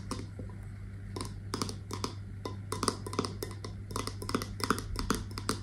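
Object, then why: Glass candle jar with a metal lid. Long nails tap and scratch the brown metal lid of a wax-filled candle in a glass jar, held close to the microphone. Quick, irregular, bright clicking taps with short scratchy bursts sit over a steady low hum, each tap dying away almost instantly.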